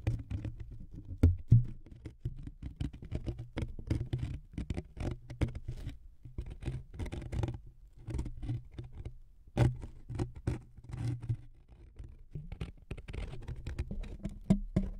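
Fingernails scratch along a thin, flexible wood veneer sheet resting across two foam-covered microphones. The result is a dense, continuous patter of short scratching strokes with a low, muffled body, occasional louder scrapes, and very little high-end brightness.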